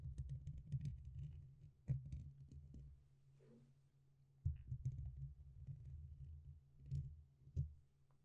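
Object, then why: Metal mesh microphone grille. Fingertips and nails tap and scratch the top and side of the black, hollow metal mesh grille on a red USB condenser microphone. The result is quiet, boomy low thuds and muffled rubbing, with a few sharper knocks standing out among dense scratchy patter and brief clicky ticks.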